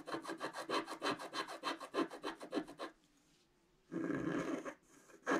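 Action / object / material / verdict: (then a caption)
scrape / coated scratch-art paper sheet scratched with a wooden stick / coated paper / none. A pointed wooden stick scratches a flat scratch-art page of black coating over colored paper, making a rapid series of about fourteen short, raspy strokes over three seconds. After a brief near-silent pause comes one longer continuous scratch, then a final quick stroke at the end.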